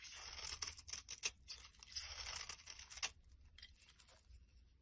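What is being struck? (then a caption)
Glycerin soap bar. A blade scrapes across a solid, translucent brown glycerin soap bar with an orange layer, held in the hand. Bright, dry scraping strokes come in rough bursts with a crisp, tearing hiss and a few sharp clicks. The strokes grow softer and sparser toward the end.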